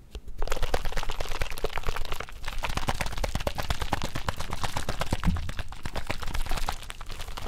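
A small plastic Mio drink bottle with liquid inside is held in the fingers and shaken rapidly near the mic. It makes a dense run of quick sloshing splashes and sharp ticks against the plastic, with a heavy low thump, and keeps steady until a brief dip near the end.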